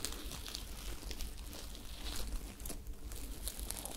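Long nails scratch and rub the surface of a glittery sequined top with a white ruffled fabric part, held up in the hands, making continuous crinkly, tearing-like rustles. Bright scratchy bursts sit over a steady low rumble throughout.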